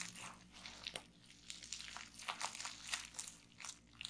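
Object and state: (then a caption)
Plastic bubble wrap. Fingertips and long nails press, pop and scratch a large sheet of clear plastic bubble wrap lying partly rolled on a table. It makes a quick, irregular run of sharp, bright pops and crinkly scratches. Each sound cuts off almost at once over a faint low hum.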